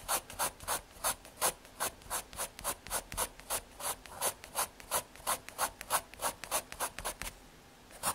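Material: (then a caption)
MDF. A graphite pencil makes dense hatching and shading strokes across a small, thin square of solid brown MDF fiberboard. Quick dry scratching rasps repeat at about three per second, each bright and papery with little low end. The strokes pause briefly near the end before one last scratch.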